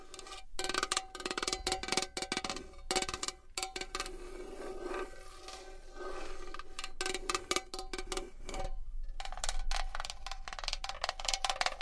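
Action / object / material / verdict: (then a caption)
tap / metal box / metal / none. A metal box is tapped and scratched with fingernails. Rapid, dense clicking taps carry a short metallic ring around 740 Hz with a lower tone near 380 Hz. The tapping eases into a softer, smoother scratching stretch midway before quick bright tapping resumes.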